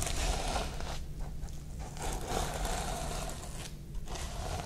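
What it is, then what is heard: Sequin-covered notebook. Long nails and fingertips sweep and scratch back and forth across the plastic sequins of a sequin-covered notebook cover. The result is a dense, bright, crackling rustle with a faint tone near 750 Hz, easing briefly between strokes over a steady low rumble.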